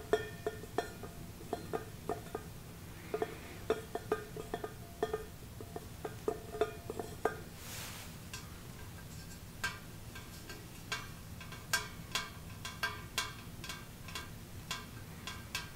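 A hollow, shiny stainless steel coffee percolator pot with a glass knob on its lid is held in one hand and tapped on its side with fingertips and nails. A series of quick, light metallic clinks carries a faint tone around 440 Hz in the first half, then gives way to sharper, brighter ticks. Each tap dies away almost at once over a low, steady background hum.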